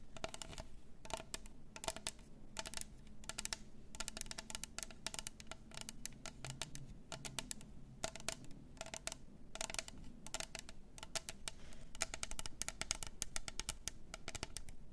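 A tall, double-walled clear plastic tumbler with pink glitter inside its walls, a clear plastic lid and a straw, hollow and apparently empty, is held in both hands and tapped and scratched with long nails. Quick bursts of sharp, bright clicks and scratchy ticks come in clusters over a steady low hum, each tap dying away almost at once with a hollow plastic tone.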